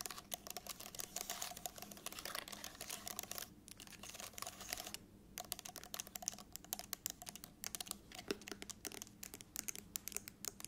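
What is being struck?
Plastic laptop keyboard keys.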